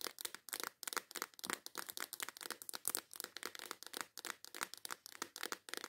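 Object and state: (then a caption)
Plastic box of nail files tapped and scratched. Long white acrylic nails tap and scratch the lid and sides of a small clear plastic case full of colorful nail files. Roughly thirty quick, sharp clicks and scrapes follow one another in a fast, intense rhythm, bright and crisp with almost no low end and no ring after each hit.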